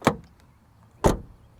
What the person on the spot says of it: Son de porte ouverte et fermée de l'extérieur. C'est du solide mais ça sonne aussi assez mécanique.